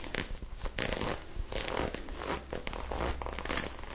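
Long acrylic nails scratch and rub a soft magenta ribbed knit sweater, producing fast, rough bursts of scratchy rustling and crinkling friction with bright, hissy edges. A steady low hum runs underneath throughout.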